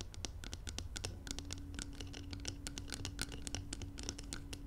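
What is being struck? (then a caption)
Filled glass jar. Long nails scratch and tap around the side walls of a glass jar filled with gold contents, producing a quick, dense run of bright, dry ticks and scrapes. A low rumble and a faint steady hum sit underneath throughout.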